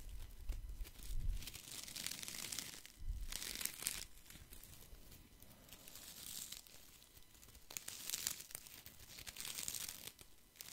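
A handful of thin wooden sticks, like chopsticks or skewers, is held in one hand while the fingers rub and rattle them together close to the mic. Dry, crinkly clicks and scrapes come in bursts, some with a bright, hissy edge and a soft low thump underneath, separated by quieter rustling.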